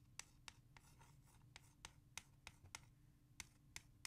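Long nails scratch and trace across a small, hollow, clear plastic CD jewel case holding a music CD. Eleven sharp, bright clicks and taps sound at an irregular, fast pace. Softer scratchy rubbing and a steady low hum run between them, and each tap dies away almost instantly.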